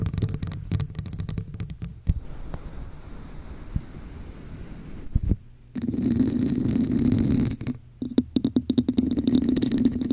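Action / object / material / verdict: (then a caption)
scrape / textured plastic cup / plastic / none. A hollow red textured plastic cup held over a microphone is scratched and tapped with long acrylic nails. Quick, uneven bursts of dry scratching and sharp taps give way to a quieter rasping stretch. Then a hollow, boomy resonance around 250 Hz builds under further scattered clicks and taps.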